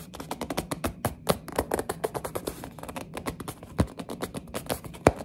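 Long nails tap rapidly and grip a small orange printed cardboard box of mini building blocks. Quick, dry, muffled taps and scratchy grips follow one another with almost no ring, with a few sharper, louder knocks standing out.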